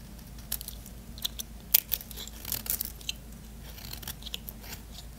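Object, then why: Bar of soap cut with a small blade. A small blade shaves crunchy curls along the edge of a solid white bar of soap held in the hand, scraping and cutting. Short, crisp crunches and scrapes come in uneven bursts with bright, high-pitched hiss over a low, steady hum.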